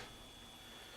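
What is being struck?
Nothing is struck.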